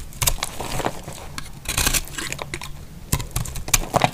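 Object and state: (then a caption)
Dry soap bar being scraped. A thin dark utility knife blade scrapes and shaves the edge of a hand-sized, dry orange-and-white soap bar held in one hand, sending flakes onto a pile of shavings. Dry, crunchy scraping strokes come in short bursts, with a low crackle beneath bright, hissy highs and quick, sharp ticks.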